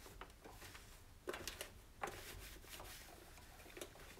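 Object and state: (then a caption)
Plastic stove control panel being wiped. A hand rubs a cloth over the white plastic control panel and knobs of an electric range, making a soft, continuous scrubbing hiss. Several sharper clicks and knocks stand out against the quiet rubbing, with bright, brief plastic contact sounds that die away almost instantly.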